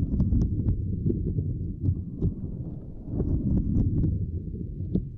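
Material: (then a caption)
Silicone. Fingertips and long nails tap and press on a small, flat purple silicone lattice mat. Dull, low, muffled thumps run continuously, with occasional brighter clicks where the nails catch the grid, all with very little ring.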